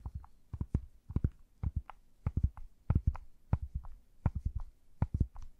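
A standard-size plastic Rubik's cube with a solid puzzle mechanism, held over the microphone, is tapped and twisted by gloved fingers with long nails. This produces a rapid, uneven series of short, dull, low thumps with faint clicky tops. Each hit dies away almost instantly with no ringing.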